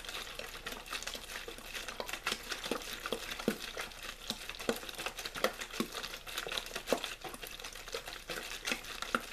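A hollow, clear plastic water bottle with a blue label is squeezed and crinkled by hand. The result is a steady stream of bright, dry crackles and sharp plastic clicks with very little low end.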